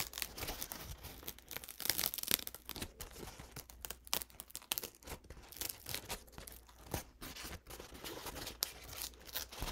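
A stiff, dried, paint-soaked paper towel stained brown and purple is held up, unfolded and crinkled with the fingertips. It gives a steady stream of crisp, bright crackles and papery rustles with sharp, quick-decaying snaps. The sound is quiet overall and sits mostly in the upper range, peaking around 3.5 kHz.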